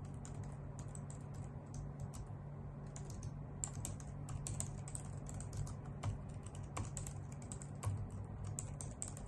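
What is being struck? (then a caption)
Plastic computer keyboard. A white full-size plastic computer keyboard with hollow key caps is typed on with long nails and fingertips. A steady stream of quick, bright clicking taps runs over a constant low hum, and each click dies away almost at once.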